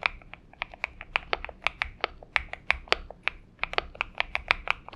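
Both hands type with their fingertips on a purple Xinmeng M71 mechanical keyboard with PBT keycaps. About two dozen short, bright keystrokes land in an uneven, quick rhythm, each a crisp clack centred near 2.3 kHz that dies away almost at once over a very faint low hum.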